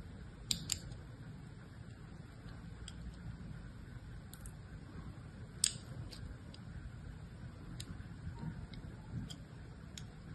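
A solid blue bar of soap, held in one hand with long pink nails, is scored in a crosshatch pattern with a thin knife blade in a light scratch-and-cut action, with other bars sitting still nearby. Quiet, dry scratches and sharp, bright ticks sound as the blade cuts the soap, over a low, steady background hum.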